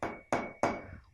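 A glass is struck three times, each hit giving a short, bright clink with a quick ring that fades within a fraction of a second. Its thin, higher-pitched sound is unlike the basin's and is an example of a high (agudo) sound.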